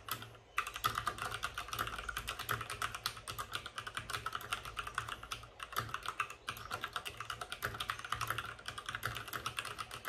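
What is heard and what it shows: Fingertips of both hands type fast on a white RGB-backlit mechanical keyboard with plastic keycaps and a hollow plastic case. A dense, steady stream of short, bright, clacky key clicks runs throughout, each one dying away almost instantly. Brief lulls occur near the start and around the six-second mark.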